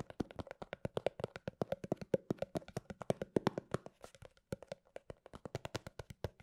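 A small round white plastic cosmetic cream jar with a printed label, apparently filled and lidded, is held in both hands close to the microphone and tapped and scratched with long painted fingernails. Around fifty quick, dry clicks come in a steady, irregular stream, each with a short hollow plastic tone near 390 Hz that dies away almost at once. Softer scratching fills the gaps.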